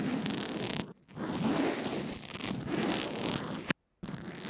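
A small earphone microphone wrapped in a fabric/plastic adhesive bandage and lying on a table is brushed back and forth with a pink plastic mascara spoolie held by a hand with long red nails. The result is a dense, close, scratchy rustling with a muffled low-mid body, briefly dipping near one second. A sharp click just before four seconds is followed by a moment of near silence before the brushing resumes.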